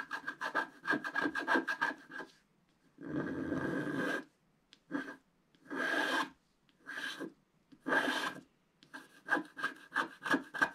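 A wooden stick scratches the stocking cuff area on a flat, black-coated scratch-art sheet held flat by hand. Quick runs of short, rasping strokes open and close the clip, with longer sustained scrapes in between. Each stroke carries a steady scratchy tone around 1.6 kHz.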